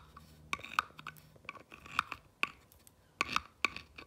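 A clear rod tool scratches and traces across a small whitewashed, pallet-style wooden plank sign with black lettering, resting on a fabric cushion, running over the textured wood and the grooves between the planks. Quiet, dry scraping is broken by sharp, bright clicking ticks at irregular intervals as the tip catches the grain and plank edges. Each tick dies away almost instantly.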